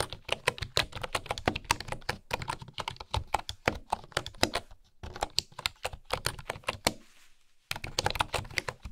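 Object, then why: Bamboo wooden keyboard keys. Fingertips and long nails tap quickly across a bamboo wooden keyboard with engraved wooden keys, making a steady stream of short, dry clicks and clacks with a bright edge. The typing pauses briefly near the end before the taps pick up again.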